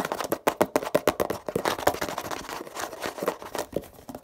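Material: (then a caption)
Plastic. Fingernails tap and scratch the label and plastic body of a hollow grey plastic Poliflor furniture polish bottle with a blue cap. A quick run of dry, hollow clicks with a mid-range knock gives way to softer scratching and scattered taps. The sound is quiet and close, with almost no ring after each tap.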